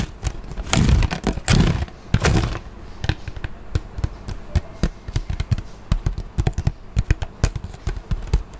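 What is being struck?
Plastic water bottle.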